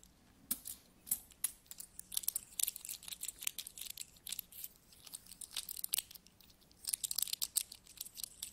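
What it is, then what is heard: Metal coins. Handfuls of small, solid metal coins are scooped from a pile and rubbed between the fingers of both hands. Quick, bright metallic clinks and jingles come in dense, uneven bursts over a faint, quiet background. Each clink dies away almost instantly, with very little low end.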